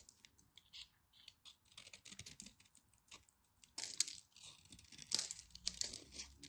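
A solid orange bar of soap, held in hands with long white nails, has its crosshatch-scored surface carved and scraped with a small utility knife blade. Quiet, bright, crisp scratching and crackling cuts come in a quick run of short bursts, with louder crunchy slices around the middle and near the end.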